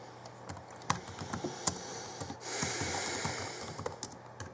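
Fingertips type on the backlit chiclet keyboard of a 2011 Alienware M11x2 laptop, with plastic keys. About nine short, bright clicking taps come at an uneven pace over a steady hiss, which swells louder through the middle of the clip.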